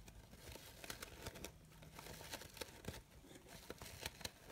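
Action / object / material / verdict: scrape / organza fabric flower / organza fabric / none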